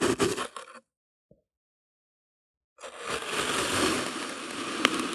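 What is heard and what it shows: A flat slab of solid pink kinetic sand resting on white paper is repeatedly cut by the rim of a broken clear plastic bottle held in hand. A short burst of gritty crunching is followed by a faint tick and a pause of silence. Then comes a long, steady, bright scraping crunch with a sharp snap near the end.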